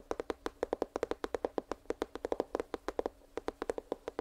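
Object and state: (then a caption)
Cardboard box. A small, hollow, printed cardboard headphones box held near the microphone is tapped quickly with fingertips and nails. About 33 short, dry taps each have a hollow tone around 470 Hz and a bright click on top. The taps fall in fast, uneven runs with almost no ring between them.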